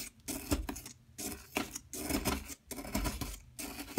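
A metal tool scrapes and chips the top surface of a large, solid yellow plaster excavation block while a hand with long metallic nails holds it in place. The sound is a series of gritty, rasping scrape bursts with a bright, hissy edge and a low thump underneath, separated by short silent pauses.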